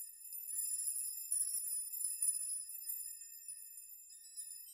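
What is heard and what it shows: Fingers gently brush a chime of many long hanging steel nails, so the nails rock and jingle against one another. The result is a soft, continuous high, bright shimmer of overlapping metallic tinkles and ringing tones, with no low end, that slowly fades.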